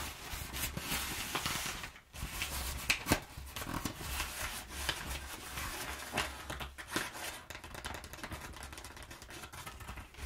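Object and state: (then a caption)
Crumpled kraft paper tapped and scratched. Long nails quickly tap and scratch a perforated, crumpled sheet of kraft packing paper. The result is a dense run of bright, crackling scratches and sharp taps with a steady low hum underneath. The sound briefly drops out near the two-second mark.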